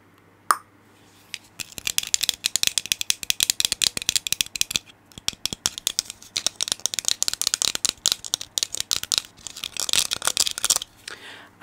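A small hollow red plastic clicker toy with an orange tip is held in both hands close to the microphone and twisted and shaken by the fingers. After a single sharp click, it gives off bursts of rapid, bright, dry rattling clicks that are mostly high-pitched. The bursts continue with brief pauses until the end.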